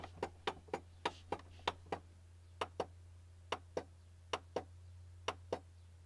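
Fingertips and nails of both hands tap on the flat plastic top edge of a white plastic Canon printer, a hollow housing. Sixteen short, dry clicks sound in an uneven rhythm, often in pairs, each with a mid-pitched body, a bright edge and almost no ring. A steady low hum runs underneath throughout.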